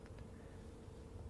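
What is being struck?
Nothing is struck.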